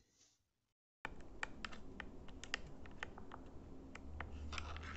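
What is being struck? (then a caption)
Plastic remote control buttons. Fingertips and nails press and tap the rubbery colored buttons of a small, flat, hand-held plastic IR remote control for RGB LEDs. After a brief faint sound and about a second of silence, a steady stream of sharp, irregular clicks and taps begins over a low, rumbling background.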